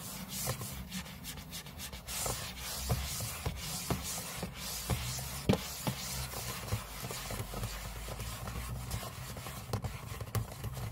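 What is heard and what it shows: Short fingernails scratch the aluminium lid of a closed space-grey MacBook lying flat on a table, close up. The result is a continuous dry, scratchy rasp with bright hiss, broken by quick sharp ticks, over a steady low hum.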